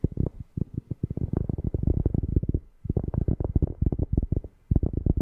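A cork object is tapped rapidly near a FIFINE K690 microphone, producing deep, bassy thumps with almost no high content. The short, dry taps come in quick bursts separated by brief pauses.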